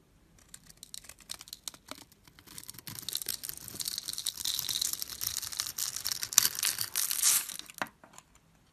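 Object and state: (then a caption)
Bar of soap being carved. A blade carves a solid yellow bar of soap, held in the hand, into small cubes along its grid-scored face. Soft, scattered crackles and snaps build into a dense, bright, crisp scraping and crumbling that peaks with a few sharp cracks. The sound then stops abruptly near the end.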